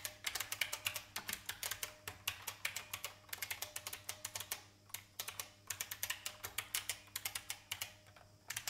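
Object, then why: Plastic mechanical keyboard. Fingertips type on the plastic keys of a vintage IBM mechanical keyboard, producing dozens of sharp, bright clicks in quick, uneven bursts. There are brief pauses near the middle and end, over a faint, steady low hum.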